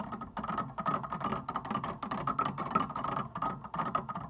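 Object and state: Plastic piano keys.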